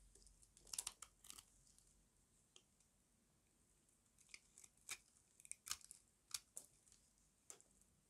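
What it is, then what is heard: Dry soap bar, crunchy when scraped. A small metal blade carves and scrapes a solid rectangular bar of dry white soap held in the hand. Quiet, bright, crisp crunching and crackling bursts come in irregular clusters, each dying away almost instantly, with faint hiss between them.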